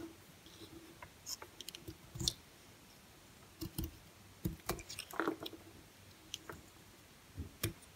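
A blue-handled utility knife blade carves thin slices off the edge of a palm-sized, solid, semi-dry green bar of soap held in the hand. Short, crisp scraping cuts and soft clicks come in irregular clusters, with brief quiet pauses between them. Each cut is bright and dry, stopping almost instantly.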